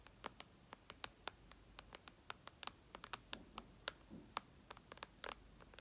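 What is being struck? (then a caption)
Glass tablet screen. Long red nails tap and scratch the glass screen of a white iPad lying flat. About 25 quick, sharp taps, bright with little low end, sound over a faint scratchy background, each dying away almost instantly. The overall level is quiet.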